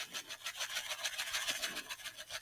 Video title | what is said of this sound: Sew Sunday Catch Up -- Stitch & B* | lovely lentils shake dancing their way into that sack